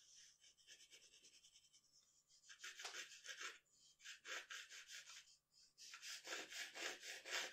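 A wooden graphite pencil sketches on a large flat sheet of drawing paper lying on a dark table, making dry, bright scratching strokes. Quick, light strokes at first give way to louder, longer bursts of shading in an uneven rhythm of about two strokes per second, with short pauses between passes.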